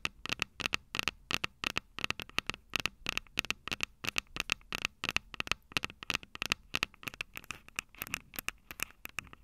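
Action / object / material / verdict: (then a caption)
tap / metal mic capsules on a plastic handheld recorder / metal, plastic / none. Long purple nails tap and scratch the two silver metal mic capsules on the plastic body of a Tascam DR-05 handheld recorder. Dozens of rapid, sharp, dry clicks with almost no ring are heard, bright and crisp with a tone near 2.6 kHz, mixed with faint scratchy crackle between the taps.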